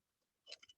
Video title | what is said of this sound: June 5-6 Introduction to Local Materials Workshop Day 1 - Video | They're very dull. You can even hear how dull it sounds compared to one of these.